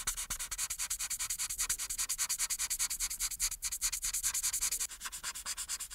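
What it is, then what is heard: Marker coloring on paper. An alcohol marker, held in fingertips with pink painted nails, is rubbed back and forth across a thin printed paper coloring page resting flat and solid on a dark board to color in the face. The result is a fast, steady run of bright, hissy scratching strokes, about two and a half per second, with almost no low end and no ring between strokes. The strokes soften slightly near the end.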